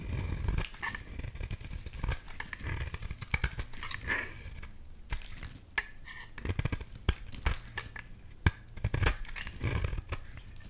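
The same solid orange bar soap is shaved with a box-cutter blade into curly flakes. There are dense, crackly scraping cuts over a low, soft rumble, with short sharp snaps that flash bright.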